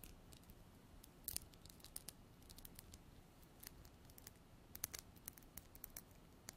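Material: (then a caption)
Glass. Long black nails tap and scratch a small glass bottle with a white cap, containing liquid, held in hand. Quiet, sharp, bright clicks and brief scrapes come in an irregular series over a low background hiss.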